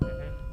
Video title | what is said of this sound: Corvette Engine Teardown | it rings like a tuning fork? If you did that and it just went clonk, then it's cracked. If it'll ring like that, it usually means everything's good.